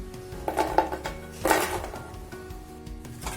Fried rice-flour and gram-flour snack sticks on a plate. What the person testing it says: ये देखिए जैसे कितना आवाज कर रहा है, मतलब ये बहुत ही अच्छे से पक गया है।